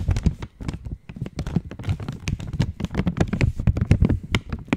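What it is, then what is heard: Metallized plastic chocolate wrapper. An opened purple Cadbury chocolate wrapper of foil-lined, metallized plastic is tapped and scratched with long nails. The result is a rapid, uneven run of short, dry taps and crinkly scratches, mostly low and dull in tone with faint bright edges. Each tap dies away almost at once.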